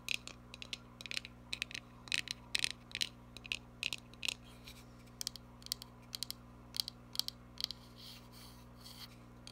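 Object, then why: Small cardboard box. A small, hollow printed cardboard gift box with a text front and chevron sides is scratched and tapped with long nails. The result is a run of short, bright, dry clicks and scratchy bursts that die away almost instantly, over a faint steady low hum.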